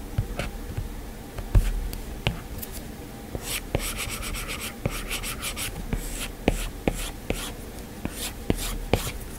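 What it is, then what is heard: Glass tablet touchscreen under a stylus. A plastic-tipped Apple Pencil makes repeated short strokes and taps on the flat glass touchscreen of an iPad. Sharp, dull clicks land at irregular intervals over a low, steady rumble, with brief bright scratchy swishes during the strokes. Each tap dies away almost at once.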